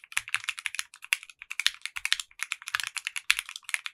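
A compact 60% mechanical keyboard with clear pink polycarbonate keycaps and a translucent case is typed on quickly with the fingertips of both hands. The rapid run of short, bright clacks has almost no low end and each stroke dies away almost instantly.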